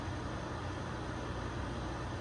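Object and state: Nothing is struck.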